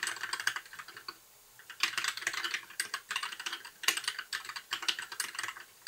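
Fingertips of both hands type continuously on a compact white mechanical keyboard with backlit plastic keycaps. Bursts of quick, bright, clacky keystrokes with almost no low end are separated by brief pauses, and each click dies away almost instantly.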